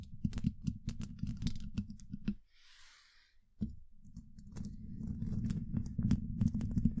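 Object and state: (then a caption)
Metal microphone mesh grille scratched with nails. Long acrylic nails on both hands scratch directly across the rounded, hollow woven steel mesh grille of a large condenser microphone, producing dense, rapid scratching and clicking with a heavy, boomy low end. The scratching stops for about a second, leaving only a faint hiss, then resumes with a sharp scrape and continues steadily to the end.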